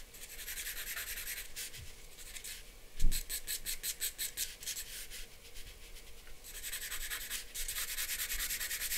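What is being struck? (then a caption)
Charcoal pencil on a paper drawing sheet. A hand draws with a charcoal pencil on a large white sheet of drawing paper lying flat on a board, making scratching and rubbing strokes. Bright, hissy rubbing comes in long passes and a quicker run of short back-and-forth strokes, with a soft low thump near the start of that run. The steady scratch carries through to the end.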